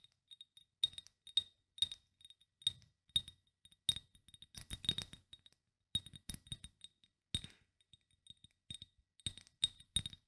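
A small rectangular Nuxe glass bottle with a metal cap, partly filled with oil, is held in both hands and tapped and gripped with fingertips, one finger wearing a ring. This produces quick, bright glassy clicks and clinks with a tone near 3.7 kHz that die away almost instantly. They come in irregular bursts with soft rubbing and scraping between them.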